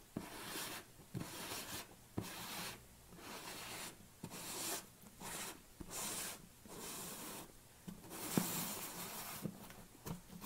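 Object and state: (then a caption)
Plastic tub lid. Fingernails scratch and rub across the top of a black plastic screw lid on a tilted large protein tub. Repeated bright, raspy strokes rise and fade with short pauses between them, and a few sharp clicks cut through.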